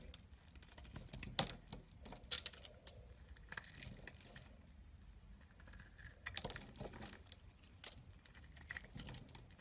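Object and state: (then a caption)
Cream bar soap being carved. A solid cream bar soap is held in the hand and carved with a small knife, with shavings falling away. Soft, crisp scraping cuts and sharp bright clicks come in quick, irregular bursts over a quiet background, each dying away almost at once.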